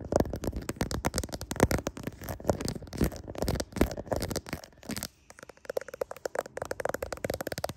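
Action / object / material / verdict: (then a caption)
scrape / smartphone with glass back and camera lenses / glass / none. Fingernails tap and scratch the rear camera lenses of a handheld smartphone with a glass back and metal frame, seen in a mirror. Dense, rapid clicks and gritty scratches continue for about five seconds, then after a brief near-silent gap come sparser, sharper taps.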